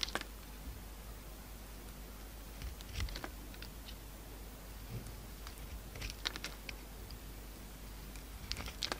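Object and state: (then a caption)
Bar soap being shaved. A pink utility knife shaves and cuts a solid oval bar of soap with a green marbled coating and a beige core. Short, crisp scraping and slicing ticks come in scattered bursts, bright and dry with almost no ring, over a quiet steady low hum.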